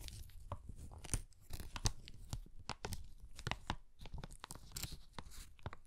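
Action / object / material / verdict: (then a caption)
scrape / kraft paper bag with paper handles / paper / none. An empty brown kraft paper bag with flat paper handles is held in both hands and crinkled and flexed with the fingertips. It gives a quiet, steady stream of dry, crackling paper crinkles with sharp, bright bursts and a soft low rustle beneath.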